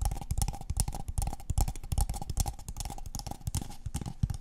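A tall, empty, hollow brown kraft paper cup held in the hands is tapped rapidly with long painted fingernails on its walls and rim. The quick, uneven taps make soft, hollow low thumps with a faint mid ringing tone and bright clicky edges, each dying away almost at once.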